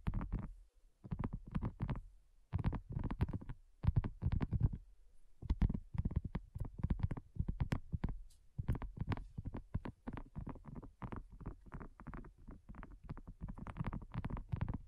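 A flat, round, pink dotted silicone coaster, thin and solid, is tapped with long nails and fingertips. The result is a quick run of soft, dull, low thuds in bursts, with brief pauses between clusters and almost no ring.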